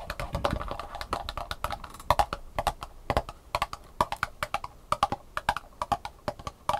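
Long painted nails tap quickly on the compartment tops of an empty, thin black plastic sushi tray with hollow compartments, held tilted above a table. The taps are short, dry clicks with a hollow, pitched ring near 1 kHz. They come in a dense flurry at first, then as quicker separate taps in uneven clusters.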